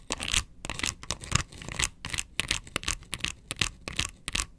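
Long nails scratch across the ridges of a hollow, round yellow plastic box lid. The result is a rapid series of short, bright, raspy scraping strokes with a light hollow knock underneath and no ring between strokes.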